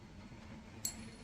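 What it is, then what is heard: Genuine 90% silver dollar coin. A 90% silver Morgan dollar coin is pinged once in a ping test, giving a single bright, high ping with a faint ringing tone that lingers over a low background rumble. The coin sounds like genuine silver.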